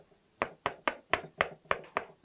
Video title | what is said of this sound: 沙漠玫瑰怎麼種？光照、溫度、澆水、施肥、黃葉與換盆全攻略！ | 这声音是非常沉闷的那种声音说明它刚刚浇过水土壤是湿的